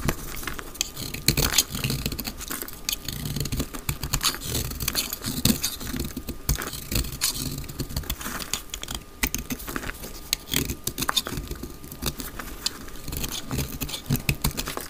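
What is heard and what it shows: A solid, palm-sized dry brown soap bar held in the hand is carved with a utility knife blade, shaving off curls. Dense, dry scraping and crisp cutting clicks run throughout, with bright crackly detail and a low rumbling undertone.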